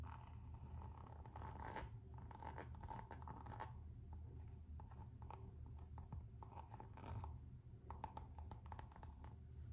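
Long nails scratch the textured rubber sole of a Gucci slide sandal with a coated-canvas strap. Quiet, rapid scratching comes in bursts, with a faint squeaky tone near 875 Hz over a low background hum.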